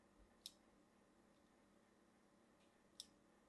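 A thin blade is drawn across a solid, hand-sized rectangular bar of blue and white striped soap held in one hand, scratching and scoring lines into its surface. Two short, bright scraping clicks stand out over a quiet background, each fading almost at once.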